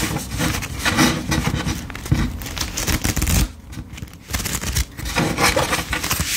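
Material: Paper.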